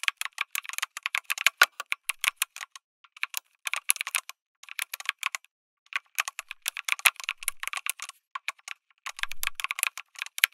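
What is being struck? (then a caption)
Mechanical keyboard, aluminum case with plastic keycaps. Fingertips type on a lit mechanical keyboard with an aluminum case and plastic keycaps, producing rapid bursts of sharp, dry clacks centered around 2.2 kHz with bright upper edges. Each keystroke dies away almost instantly. Typing runs in quick flurries broken by brief pauses.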